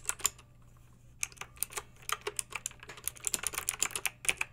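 A backlit plastic mechanical keyboard with round plastic keycaps is typed on with long acrylic nails, giving sharp, bright clicky taps. A few taps come first, then a short pause, and then a steady run of rapid keystrokes over a faint low hum.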